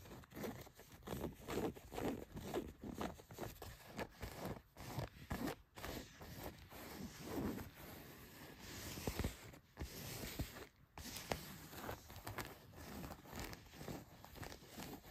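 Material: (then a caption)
Denim. Long nails scratch and fingertips rub across blue denim jeans laid flat, working over the waistband and back pocket. Quiet, dry rasping strokes repeat in steady bursts throughout, with a coarse, brushy texture from low to high.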